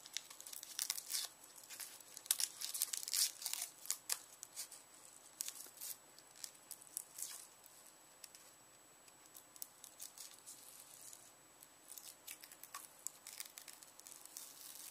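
Fingernails pick at a solid, partly peeled whole yellow onion and tear off its dry, papery outer skin. Quiet, bright, crackly tearing and crinkling come in irregular bursts of short snaps, busiest in the first few seconds, with a softer lull in the middle before the crackling picks up again.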